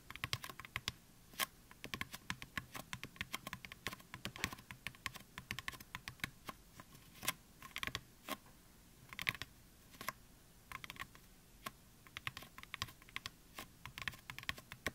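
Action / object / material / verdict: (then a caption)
tap / styrofoam mannequin head / styrofoam / none. Fingertips and nails of both hands tap on the crown of a white, life-sized, solid styrofoam mannequin head. The result is a steady stream of quick, dry, bright clicks and taps in an uneven rhythm. Each tap dies away almost instantly over a faint, quiet background.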